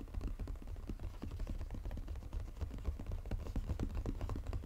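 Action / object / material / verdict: tap / cardboard chocolate box / cardboard / none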